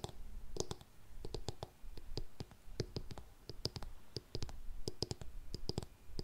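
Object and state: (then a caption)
Faux suede ankle boot. Long nails tap the block heel and scratch the upper of an empty grey faux suede lace-up heeled ankle boot. A rapid, uneven series of short, dry clicks with bright tips and a dull low body is heard, with soft scratching in between. Each tap dies away almost instantly.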